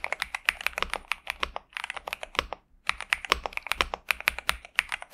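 Both hands type continuously with their fingertips on a pink and purple 65% Xinmeng M71 mechanical keyboard with TTC Superman switches and plastic keycaps, resting on a desk mat. Quick, bright, sharp clacks centered around 2.4 kHz come in rapid runs, with a brief pause just before the three-second mark. The result is a pleasant mechanical keyboard sound.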